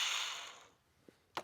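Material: Steel.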